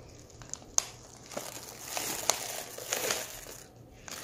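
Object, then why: Foil-lined plastic candy pouch. A medium foil-lined plastic M&M's Minis stand-up pouch, open and nearly full of small candy-coated chocolates, is held in both hands while fingertips crinkle and squeeze its edges. Bright, crisp crinkling comes in bursts with several sharp crackles, and the candies shift softly inside.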